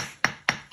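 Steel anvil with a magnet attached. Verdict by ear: Damped.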